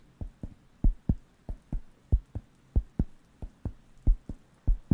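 A round, flat, thin, solid wooden coaster with a cork-like feel is held near the microphones and scratched and tapped with fingertips. Sixteen short, dull, low taps come in an uneven rhythm, each dying away almost at once, with faint scratching between them.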